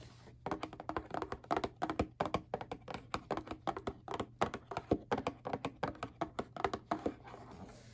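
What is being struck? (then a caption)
Cardboard tissue box. Fingernails and fingertips tap quickly on the hollow underside of a flat, rectangular printed cardboard Kleenex tissue box resting bottom side up. About forty short, dry, papery knocks with a hollow, mid-range tone come in uneven bursts over a low steady hum, each dying away almost at once.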